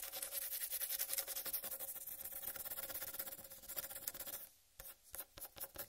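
Long red-painted nails scratch rapidly across the green striped rind of a large whole uncut watermelon, making a dense, bright, raspy scraping for about four and a half seconds. The scratching then stops and a few short, separate taps on the rind follow against near silence.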